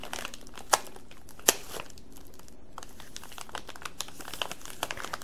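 A rainbow-colored flexible plastic candy bag full of sour belts is held in the hands and squeezed and crinkled with the fingers. It makes a steady, dense crinkling with two sharp, bright crackles early on, then a run of smaller snaps through the rest of the clip.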